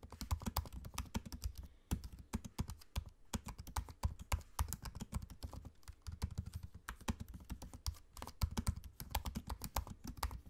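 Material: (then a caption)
Plastic. Fingertips type fast on a MacBook-style laptop keyboard, tapping low-profile plastic keycaps set in a space-grey aluminium body. A rapid, steady stream of short, dry taps sounds, each with a soft low thud and a bright click, broken by brief pauses near the 2- and 3-second marks.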